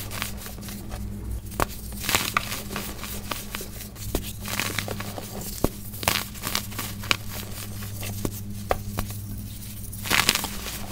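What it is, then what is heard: Packed baking soda chunks. Solid chunks of compressed white baking soda are squeezed, crushed and rubbed between bare hands and fingers over a steel bowl of loose powder. Dry, crisp crunches and crumbling crackles come in scattered bursts, with bright, brief peaks over a steady low hum.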